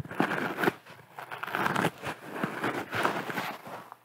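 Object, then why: Natural sea sponge. Fingertips and long nails scratch and squeeze a round, yellow, porous, palm-sized natural sea sponge that looks soft and dry. The sound is a soft, crinkly crackle in uneven bursts, mostly midrange with a little bright edge and very little low end, with brief quieter gaps between squeezes.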